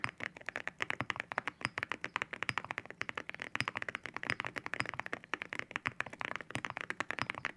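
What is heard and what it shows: Both hands type with their fingertips on a white mechanical keyboard fitted with ceramic keycaps. The result is a fast, steady stream of short, crisp clicking taps with a bright, glassy tone centered near 1.7 kHz and very little low end. Each tap dies away almost instantly.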